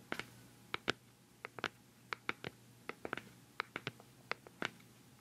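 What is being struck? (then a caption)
Plastic cosmetic pad jar. Long nails tap rapidly on the black lid of a hollow, round white plastic cosmetic pad jar held close to the microphone. The result is a quick, irregular series of short, dry plastic clicks with a bright, hollow tone centered around 1.5 kHz and almost no ring, over a quiet background.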